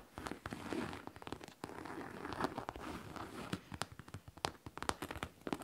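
Long nails tap and scratch across a hollow pink faux leather backpack with a studded front pocket and zipper, working near the studs. Dense soft scratching gives way to a run of sharp, crisp clicks with brief bright ticks, all at low volume.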